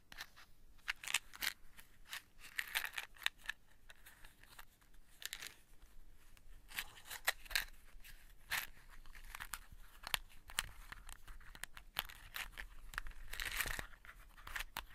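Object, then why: Cardboard matchbox. A small closed cardboard matchbox is turned in the hands while long nails tap and scratch its printed sides and striker strip. The result is a dense run of short, dry clicks and scratchy rasps, bright and crisp with very little ring, over a quiet background.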